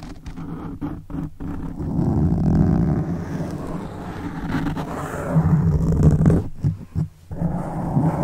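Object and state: Foam microphone windscreen being scratched.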